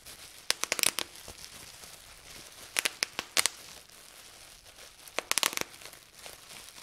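Fingertips pinch a clear plastic bubble wrap sheet resting on a table, popping individual air bubbles. Three quick bursts of sharp, bright snaps and crackles are heard, separated by quiet pauses with faint crinkling.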